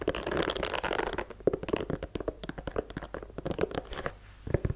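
Long nails scratch across the rubber sole tread and the side of the sole of a white leather sneaker. About a second of dense, continuous rasping gives way to a quick, uneven run of short, dry scratchy clicks, centered in the low-mids with little high end.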